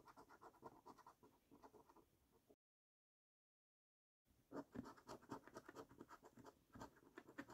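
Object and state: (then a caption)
Coin scratching a latex scratch card. A coin scratches the latex coating off the symbol boxes of a flat, thin cardboard paper scratch card held by fingertips, making short, irregular scraping strokes. A burst of rasping scratches is followed by a sudden silence of over a second, then louder, denser scratching resumes.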